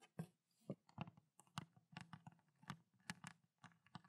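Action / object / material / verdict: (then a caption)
tap / plastic water bottle with water / plastic / none. Long black nails tap and scratch quickly on a small clear ridged plastic water bottle with a blue cap and water inside. About seventeen short, dry clicks land in an uneven rhythm, with a low hollow body around 184 Hz and brief bright scratchy edges. Each tap dies almost instantly.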